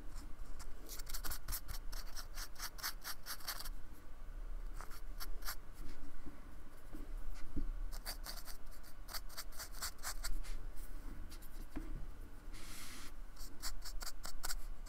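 A fine paintbrush rubs and scratches in short strokes across the rough, beaded surface of a small, flat, solid white expanded polystyrene square held by fingertips on a wooden table. Quick runs of dry, bright, scratchy strokes come in clusters with brief pauses between them, over a steady low hum.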